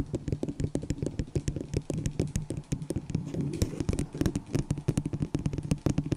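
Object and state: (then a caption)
Plastic cup tapped with nails. Long nails tap and scratch on a small, hollow, empty white disposable plastic cup held over the microphone. The result is a rapid, steady run of short, dry clicks with bright tips over a low, hollow resonance, with light scraping between the taps. Each tap dies away almost at once.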